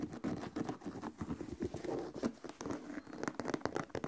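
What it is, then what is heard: Leather sneaker tapped and scratched. Fingertips tap and scratch the leather upper of an empty white leather sneaker held upright, near the laces and the heel. A quick run of soft, dry taps mixed with scratchy rubbing, each tap dying away almost at once, with a low-mid body and little high content.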